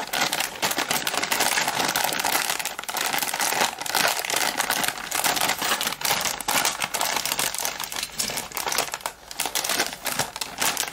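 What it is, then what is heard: Crinkling plastic foil snack bag. A colorful Zinga Lala plastic foil chips packet, hand-sized, hollow and partly filled with puffed corn snacks, is held and squeezed by bare fingertips. Dense, bright crinkling and rubbing crackles run steadily through the whole clip with no pauses.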